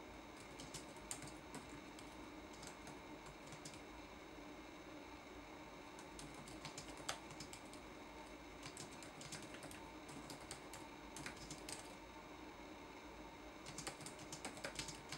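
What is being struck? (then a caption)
Plastic laptop keyboard keys. Fingertips tap the plastic keys of a red-backlit laptop keyboard in a typing action. Quiet, bright, short clicks come in bursts separated by brief pauses, over a faint steady background.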